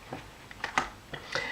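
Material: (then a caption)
Liquid. An e.l.f. eye refresh roller-ball bottle filled with liquid is shaken, producing five short, bright sloshing rattles. The sound of the liquid inside gives a sense of how much product is left, though no exact level is given.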